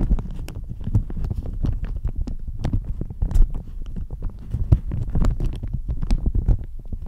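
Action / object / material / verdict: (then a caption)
scrape / thin plastic shower cap / plastic / none. A thin floral plastic shower cap stretched over a microphone is scratched and squeezed with fingernails and fingertips. The result is a steady stream of close, muffled crinkles and scratches with heavy low-end rumble, broken by many short, sharp ticks.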